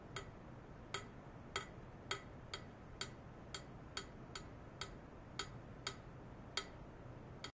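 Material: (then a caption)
Stainless steel. A thin metal probe rod is tapped by hand 14 times, at uneven intervals, against a long, hollow stainless steel pipe about 3–4 cm in diameter. The pipe rests horizontally in white foam-net sleeves on clamp stands and is wired to a function generator. Each tap gives a sharp, bright tick with a brief high ring over a steady low background hum.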